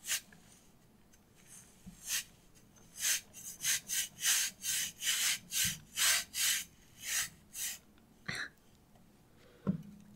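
A small solid lump of purple kinetic sand is rubbed by hand across a flat stainless steel handheld cheese grater held over a wooden cutting board. It makes a run of short, bright, hissing rasps that come quicker and more evenly in the middle. Two sharper taps follow near the end.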